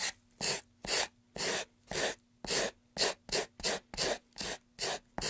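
A gloved hand rubs sandpaper over the edges and surface of a solid, light-wood carved pine tray. About twelve short, bright, gritty rasping strokes come in a steady back-and-forth rhythm, each ending abruptly. Near-silence fills the gaps between them, with only a faint low hum underneath.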